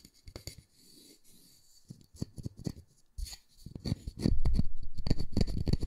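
A solid round wooden disc with a center hole, held in one hand, is scratched and tapped by fingernails on its face and edge. Quiet, brief scratches and light taps come first, then the tapping grows louder and quicker into a dense run of short, dull knocks toward the end.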